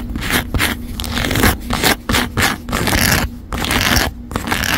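Long acrylic nails scratch and tap the textured back of a white croc-embossed faux leather phone case with a gold metal camera frame and corners, fitted on a phone in a stand. Fast, rough scraping comes in dense bursts with short pauses between strokes, bright and gritty with light tapping underneath.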